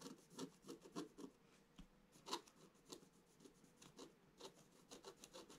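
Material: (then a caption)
Coated paper. A wooden stylus scratches fourteen short strokes into the black coating of a scratch-art paper page in a book lying flat. Each stroke is a quiet, dry rasp with a bright, hissy edge, and the strokes come in uneven bursts with brief pauses between them.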